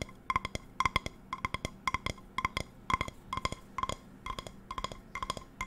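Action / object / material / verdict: tap / metal frying pan base / metal / none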